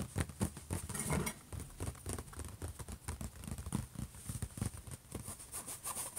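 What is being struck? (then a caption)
Metal laptop lid. Fingertips and short nails of both hands tap and scratch the closed lid of a silver HP laptop. Rapid, dry, low thumps come in irregular clusters with almost no ring, while a faint, steady, bright scratching hiss runs beneath them throughout.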